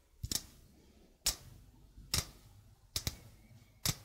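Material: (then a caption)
Stainless steel. A stainless steel mesh sink strainer, held with its mesh facing the mic, is tapped slowly with fingertips and nails on the mesh and rim. Sharp, bright clicking taps come in small, uneven clusters with very short decay, over quiet background hiss.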